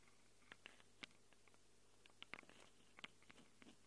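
Long acrylic nails scratch and tick against the metal mic capsule rings of a small black handheld Tascam recorder. About ten sharp, bright clicks land at irregular intervals over a quiet, steady low hum, each dying away almost instantly.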